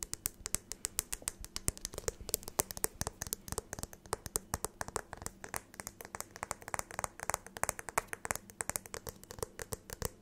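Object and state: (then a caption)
Glass jar. Long acrylic nails tap and click quickly on the walls of a medium clear glass jar with a lid as it is held up and turned. Dozens of sharp, bright clicks come in a fast, steady stream, each dying away almost at once over a faint low hum.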